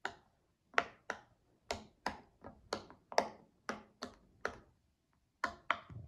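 A child presses the hollow bubbles of a cloud-shaped tie-dye silicone pop-it fidget toy with her fingertips, one after another. Each press makes a short, crisp pop with a bright snap and almost no ring. The pops come at an uneven pace with brief pauses between them.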